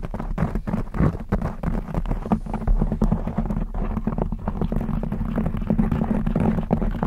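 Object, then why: Knit fabric microphone cover. Long blue acrylic nails scratch a black textured knit fabric cover stretched over a rounded microphone head. The result is a dense, continuous run of quick, close scratches and rustles that sound muffled and boomy, with most of the energy low down and a steady low hum-like tone underneath.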